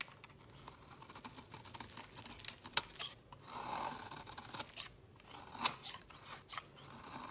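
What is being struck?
Solid soap bar shaved with a metal blade.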